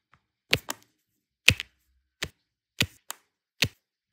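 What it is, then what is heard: Resin drills pressed onto adhesive canvas. A pink plastic multi-placer tool taps and presses rows of small solid turquoise resin diamond-painting drills down onto a flat canvas with an adhesive base. Nine short, dry, bright clicks with no ring come at uneven intervals, some in quick pairs, each with a light thud underneath.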